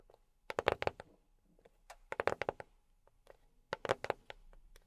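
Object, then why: Box tapped with silicone fingertip pads. A box is tapped with silicone rubber pads on the fingertips, giving three quick bursts of rapid, dry taps. The taps are soft and short, with a hollow mid tone around 540 Hz, a little brightness and almost no low end. Each tap dies away at once, leaving quiet gaps between bursts.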